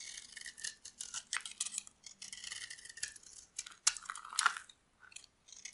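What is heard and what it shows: A small metal blade scrapes and shaves brittle flakes off a solid oval bar of dry purple soap held in the palm. Quick, crisp, bright scraping and crackling strokes come in uneven bursts, with a few sharper snaps near the end and brief quiet pauses between strokes.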